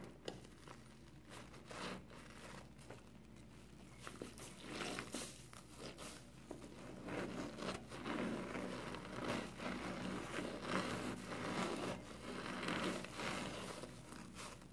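Fingers squeeze and rub a hand-sized, soapy, wet yellow foam kitchen sponge with a green abrasive scouring pad. The result is irregular bursts of crinkly, crackling, squelching noise over a faint steady low hum, growing louder and denser midway through.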